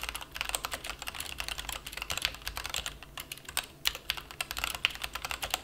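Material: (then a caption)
Plastic. A plastic mechanical keyboard resting on a felt mat is typed on rapidly with the fingertips of both hands. It produces a fast, continuous stream of short, bright clicks and clacks with almost no low end. Each keystroke dies away almost instantly.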